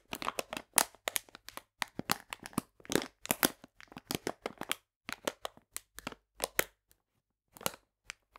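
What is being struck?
Plastic bag of polenta.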